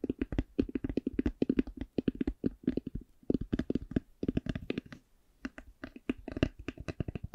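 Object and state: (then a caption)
Eyeglass case tapped. An eyeglass case is tapped slowly with a steady run of short, dry taps. The taps have a low-mid hollow tone around 266 Hz and die away almost instantly. There is a brief pause near the five-second mark before the tapping resumes.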